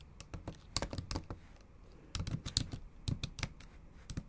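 Long acrylic nails type on the black plastic keys of a MacBook Pro set in an aluminum body, making about twelve quick, sharp taps in two uneven bursts. Each tap is a dry, bright click with a low thud underneath, dying away almost instantly.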